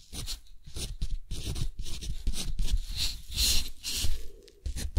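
A metal dip-pen nib scratches across a thick, textured cotton paper sheet as handwritten text is written on it, with both hands resting on the paper. The result is a run of dry, crunchy, tearing scrapes in short bursts, bright hiss over a low rumbling body, separated by brief pauses as the pen lifts.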